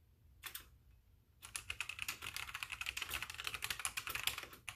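Both hands type with their fingertips on a full-size white backlit mechanical keyboard with plastic keycaps, without using the mouse. A short burst of clicks comes first, then after a brief pause a steady run of rapid, crisp, bright keystrokes continues to the end, each click short and dry.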